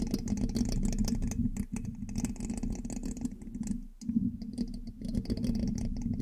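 A thin metal pin held in the fingertips scratches and taps the hollow black metal mesh grille of a large USB microphone. Dense, irregular scratchy ticks and rattles ride over a steady low hum. The sound dips briefly twice before resuming.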